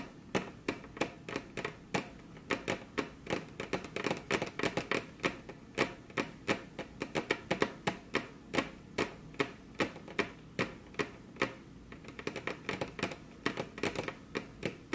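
Very long, curved fingernails on crossed hands tap their tips against a flat, solid, glossy dark-brown wood-grain tabletop. About 58 crisp, dry clicks come in a quick, uneven rhythm over fifteen seconds. Each tap has a bright, sharp attack and dies away almost at once.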